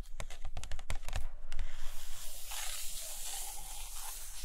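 Long nails tap on the glossy paper pages of an open hardcover photo book resting on a carpet, giving a run of sharp, quick taps in the first second and a half. The nails then trace along the page surface, producing a steady, bright, scratchy hiss.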